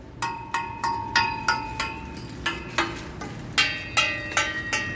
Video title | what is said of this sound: Toyota camry customer sells him self axle shaft replacement w his exhaust repairs | As long as it rings, I'm good.